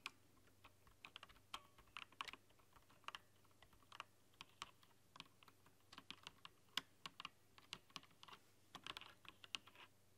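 Fast typing with long nails on a mechanical keyboard with translucent plastic keycaps under bright rainbow LED lighting. About thirty sharp, bright plastic clacks come in quick, uneven bursts, each dying away almost instantly over a faint low steady hum.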